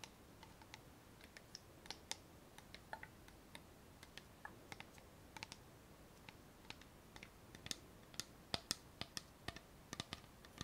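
Fingernails tap the bottom and the white plastic cap of a clear plastic bottle of micellar water with liquid inside, turned so its base and cap face forward. About 35 short, bright clicks come at an uneven pace over a soft, steady hiss, each dying away almost at once.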